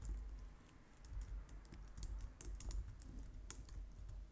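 Long nails type steadily on a white low-profile plastic computer keyboard, making quick, bright clicks with little ring. A low, steady rumble sits underneath the tapping throughout.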